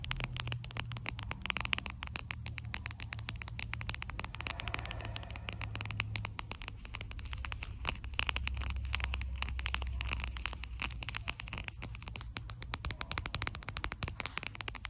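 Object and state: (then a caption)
Plastic sticker pouch. Long blue acrylic nails tap and scratch across a flat, glossy plastic cartoon sticker pouch, making a dense run of quick clicking taps and bright, crinkly scratches. The plastic crackles under the nails over a steady low hum throughout.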